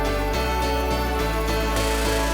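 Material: Nothing is struck.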